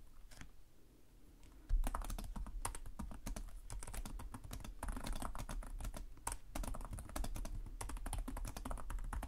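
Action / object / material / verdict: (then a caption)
tap / plastic laptop keyboard keys / plastic / none. Fingertips with short nails type continuously on the plastic chiclet keyboard of a black laptop resting on a desk. After a quiet opening of under two seconds with a few faint taps, a steady stream of rapid key clicks begins. Each tap is short and dry, with a low thud beneath a bright click.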